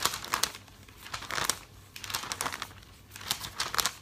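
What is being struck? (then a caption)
Thick glossy paper catalog. A hand turns and flaps the pages of a thick glossy paper catalog, producing bright, crisp crinkling and papery flutters. The sound comes in quick bursts that surge and fade with each page movement, with almost no low end.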